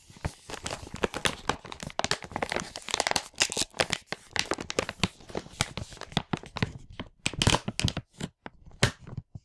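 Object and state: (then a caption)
Plastic parts bag being crinkled and torn. A large printed plastic packaging bag from a LEGO Hero Factory 44022 set, full of parts, is handled and flipped with the fingertips. Dense, bright crinkling and tearing bursts come in quick irregular clusters, with short gaps near the end.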